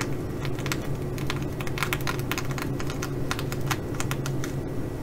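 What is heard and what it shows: Fingernails of one hand tap and scratch the sequins of a blue reversible flip-sequin fabric bag. Rapid, dry, bright clicks and scratchy rustles keep coming over a steady low hum.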